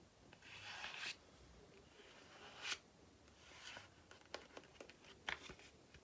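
Long painted nails scratch and rub a small, flat, white printed paper or card sachet held in one hand. Soft, breathy rubbing swells give way to quick, dry scratches and light ticks, all quiet and bright with little low end.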